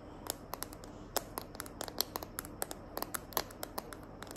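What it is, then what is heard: Plastic phone case tapped and scratched with nails. Long nails tap and scratch the back of a smartphone held in the hand, inside a small green glitter plastic case. A quick, irregular series of sharp, bright clicks rises over a faint scratchy rustle and a low, steady background hum. Each tap is short and dies away almost at once.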